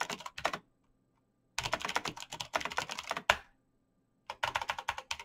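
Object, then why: Plastic mechanical keyboard. Fingertips in fingerless knit gloves type fast on a black plastic mechanical gaming keyboard with clicky green switches, backlit keys and a hollow case. Bursts of sharp, bright, clicky taps come in quick runs separated by short silences, with one louder clack that rings briefly.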